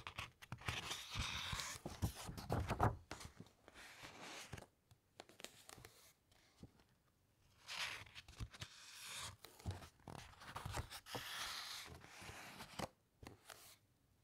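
Long nails and fingertips brush the edges of a thick open paper encyclopedia with uncoated pages and turn the pages one after another. Dry, papery swishes and crinkly rustles come in uneven bursts, with bright hiss on each sweep and soft low thumps as the pages settle, separated by short quiet gaps.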